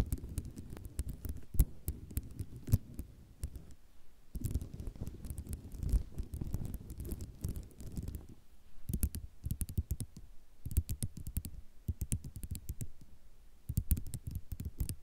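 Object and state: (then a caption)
Ceramic mosaic tile sheet, solid. A mesh-backed sheet of small white square ceramic mosaic tiles, lying flat on dark cloth, is tapped and scratched with long rhinestone-decorated nails. The sound is a dense run of short, sharp clicks and rattles over a low, soft rumble of scratching. There are brief pauses near 4 and 8.5 seconds.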